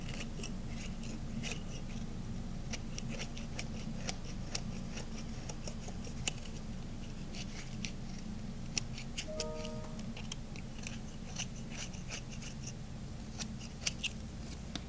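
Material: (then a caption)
Soap. A solid cream-colored bar soap is held by hand while a metal blade scrapes and carves it in slow strokes. Short, sharp, bright clicks and crisp scraping ticks sound over a steady low hum. Around the middle, a brief tonal chime rings out.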